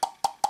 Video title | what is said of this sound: Camera IP 163eye, ca en fait des yeux ! | Ça sonne un petit peu creux.